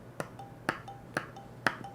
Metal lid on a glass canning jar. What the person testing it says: it's Hollow these did not seal